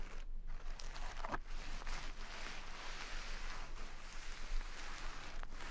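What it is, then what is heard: Burlap sack of rice being scratched. Long red nails scratch and squeeze a small, full, soft jute burlap sack of brown basmati rice, the coarse fabric giving a steady, quiet, bright scratchy rustle over a low hum. The rice grains can be heard shifting inside as the fabric is worked.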